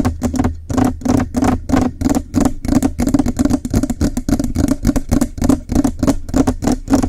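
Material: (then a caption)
Metal. Fingernails on both sides tap and scratch the hollow metal cylindrical body of a Blue Yeti microphone in fast triggers. A rapid, uneven run of short, dry taps and scrapes carries a steady tone near 280 Hz over a low rumble, with each hit dying away almost instantly.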